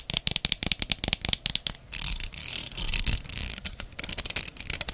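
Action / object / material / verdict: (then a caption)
scrape / plastic wide-tooth comb / plastic / none. A small, solid, wide-tooth translucent amber plastic hair comb has its teeth strummed, scratched and tapped with long red nails. Quick, bright, clicky taps come first, then a stretch of hissy scratching and strumming, then more rapid taps. The sound is crisp and high-pitched with almost no ring.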